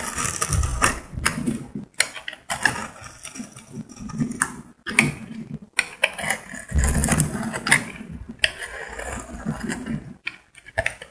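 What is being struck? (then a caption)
Bar of soap scraped with a metal blade. A solid cream bar of soap, scored into a grid, is scraped with a metal utility blade so crumbs fall away. Repeated gritty scratching strokes come in bursts with short quiet gaps, carrying a dull low body under a bright, crackly hiss.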